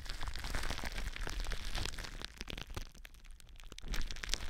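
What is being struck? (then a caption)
Plastic bubble wrap. Long blue nails scratch and press clear plastic bubble wrap stretched over a cylindrical mic form. Dense, irregular crackling and crinkling with quick pops and bright scratchy clicks rides over a heavy low rumble. The sound thins and quiets in the middle before building again toward the end.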